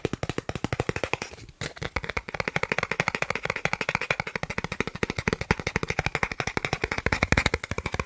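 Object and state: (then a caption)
Plastic card, tapped. A thin, solid, credit-card-sized green plastic gift card is tapped rapidly with the fingertips of the other hand. The result is a fast, steady stream of short, dry clicks with a brief pause around 1.5 seconds.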